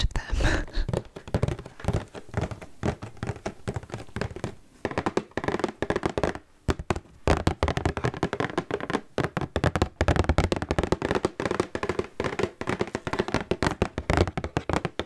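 Fingertips and long nails tap rapidly across a large, full, red Cheez-It family-size cardboard cracker box. The result is a steady stream of dull, hollow, low thumps that die away almost instantly, with faint crinkling in between.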